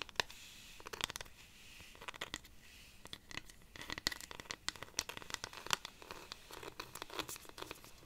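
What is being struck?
Dried cactus-wood rainstick.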